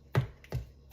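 A freshly baked beef and broccoli calzone is tapped on its baked pizza dough crust straight out of the oven. Three short, low, hollow thuds are heard, with a faint higher click between the second and third. The hollow sound shows the calzone is done.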